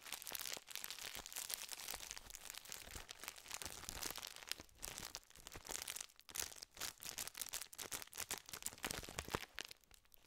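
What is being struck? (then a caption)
Plastic snack wrapper full of biscuits. A tall gold and blue plastic wrapper of sandwich biscuits, full of biscuits, is held in both hands close to the microphone and squeezed and crinkled with the fingertips. Dense, bright crackling and crinkling runs continuously for about ten seconds in quick irregular bursts, with little low end.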